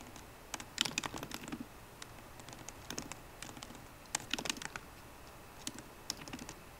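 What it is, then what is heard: Laptop keyboard typing. Both hands type continuously on a MacBook Pro keyboard, tapping its plastic keycaps on the hollow aluminium laptop body with fingertips and long painted nails. Quick, bright, clicky key taps come in bursts with short pauses between them, each tap dying away almost instantly over a faint, steady background hiss.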